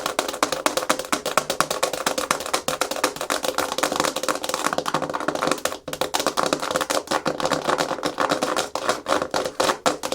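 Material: Plastic.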